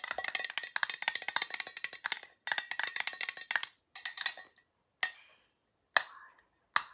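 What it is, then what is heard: Small round metal tin. A small, round, hollow silver metal tin with a lid is held in the hand and tapped on its lid with long nails. Quick, bright, clicky taps come in rapid bursts, then slow to a few single taps with a brief metallic ring around 1.7 kHz. There is no low end.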